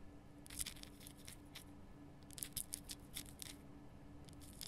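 Long nails scratch and tap the rough surface of a large, glowing pink Himalayan rock salt lamp, a solid salt block. Quiet, bright, gritty scrapes and short crackly taps come in scattered bursts over a steady low hum.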